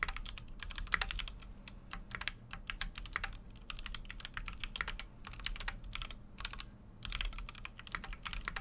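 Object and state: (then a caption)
Mechanical keyboard being typed on. A full-size Keychron Q6 mechanical keyboard with an aluminum case and plastic keycaps is typed on continuously with the fingertips. It makes rapid, bright, short clacks in bursts with brief pauses, over a steady low background rumble.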